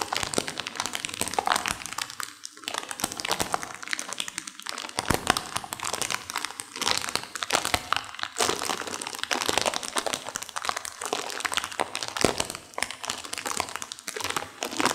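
A sealed plastic instant-noodle packet with dry noodles inside is squeezed and crunched by hands with long nails. Dense, bright crinkling and crackling runs steadily through the clip, with the dry noodles crunching inside the wrapper and no low rumble.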